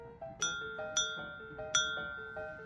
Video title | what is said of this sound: 앤틱찻잔 검수는 이렇게 how to check defects in antique tea set | 제품을 통통 튕길 때 들리는 소리로 전반적인 컨디션을 파악합니다